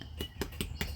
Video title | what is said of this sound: Beef Stew in a Bread Bowl - Frozen Roll Dough & Canned Stew | I don't want to thump it too much, but yeah, it's hollow